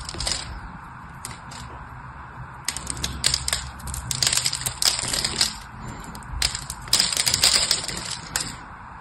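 A blade shaves and cuts slices off the edge of a solid, hand-sized blue bar of soap held in a hand with long blue nails. Bright, crisp scraping and crumbling cuts come in irregular clustered bursts over a faint low rumble, each scrape fading quickly.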